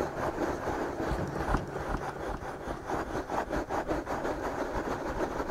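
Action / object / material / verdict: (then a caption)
scrape / soft silicone ears of a binaural microphone / silicone / none. Fingertips of both hands slowly rub and scratch the soft silicone ears of a binaural microphone. A continuous, muffled scratching and rubbing rises and falls in loose, uneven strokes, with most of the sound sitting in the low and middle range and very little brightness.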